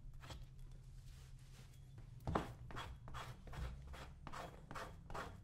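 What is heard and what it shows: A small metal blade held in the fingers scrapes old cream off a brown leather cowboy boot worn on a foot. Quiet, repeated raspy scraping strokes come one after another over a low background rumble, with one slightly sharper stroke near the middle.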